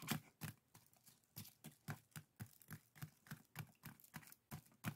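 Fingertips and nails scratch the woven strips of a small, hollow, empty pair of woven split-bamboo bokjori strainers resting on a table. The result is a steady series of short, dry, rustling scrapes, each with a soft low body and a bright crackle, that die away almost instantly.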